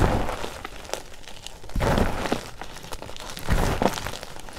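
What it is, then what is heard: Oil-soaked gym chalk being crumbled by hand. Both hands dig into a mound of crumbled, baby-oil-soaked white gym chalk (magnesium carbonate) in a green plastic bowl, squeezing and crumbling the chunks into powder with the fingertips. Soft, muffled crunching and crumbling come in irregular bursts, with louder squeezes near the start, middle and end.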